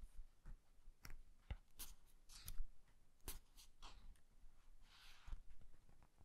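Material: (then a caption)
Paper. A small paperback book is held open while its paper pages are slowly flipped and riffled with the fingertips. Soft, dry papery rustles and crisp page flicks come in short bursts with bright hiss, over a low rumble.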